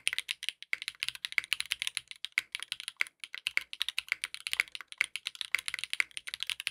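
Continuous two-handed fingertip typing on a compact 60% mechanical keyboard with a dark purple case, purple ABS plastic keycaps and a polycarbonate plate, resting on a desk mat. The fast, dense keystrokes make bright, sharp clicky clacks with almost no ring and no low end, at a steady, quiet level.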